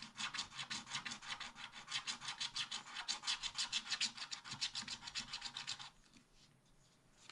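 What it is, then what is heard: Scratch-art paper being scratched. A wooden stylus scratches small black areas near the bottom of a wax-coated scratch-art paper page, making rapid, bright, dry rasping strokes at about three per second. The scratching stops at about six seconds, leaving only faint, quiet rustling.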